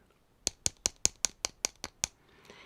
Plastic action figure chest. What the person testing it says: it feels really Hollow so it doesn't feel premium